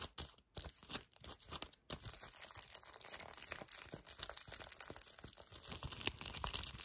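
Long painted nails and fingertips grip, squeeze and scratch a small, flat yellow cardboard sleeve of a full milk chocolate hazelnut bar held in both hands. Quick bursts of dry, bright crinkling and scratching come in choppy bursts at first, then settle into a steady, dense rustle. The sound is quiet and mostly high-pitched, with little low end.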